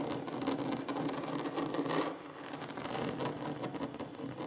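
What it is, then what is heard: Wooden tabletop scratched with fingernails. Short fingernails scratch the surface of a large solid wooden tabletop, producing a steady dry rasping texture concentrated in the mid frequencies. The scratching dips briefly just after two seconds, then continues at a similar level to the end.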